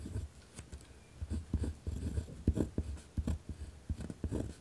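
A pen presses hard across a thick pad of white lined paper with a torn spiral edge, lying on a wooden desk. The sound is a series of rough, low scratching strokes in short bursts, with a dull, muffled scrape as the tip drags over the paper.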